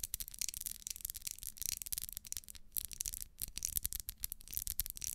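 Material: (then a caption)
Wax. Long nails scratch and rub along the ribs of a small solid pink ribbed wax pillar candle. It makes a quiet, continuous run of dry, bright, crackly rasps with rapid fluttering ticks. Only a faint low rumble sits underneath.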